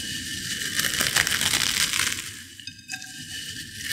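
Small potato chip fragments in a white ceramic bowl are crushed between fingertips and long nails, producing a dense, bright crackling crunch. The crinkling is loudest in the first half, then thins into softer, scattered crackles toward the end.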